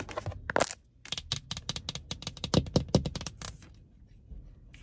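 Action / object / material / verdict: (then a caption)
tap / textured plastic car door trim / plastic / none. Long acrylic nails tap and scratch along a hollow, dark grey grained plastic or vinyl upper car door trim panel below the side window. The result is a rapid run of short, sharp clicks with a bright scratchy edge and a dull low knock from the hollow panel. The tapping thins out near the end, leaving faint scratching.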